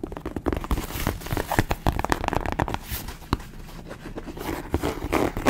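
A tall, empty white western boot with embossed stitching, apparently leather (possibly faux), is held upright in both hands while long acrylic nails scratch and tap along its hollow shaft. Quick, dry taps and clicks sit over a soft, continuous scratching rustle, each tap dying away almost instantly with a dull, hollow low thud underneath.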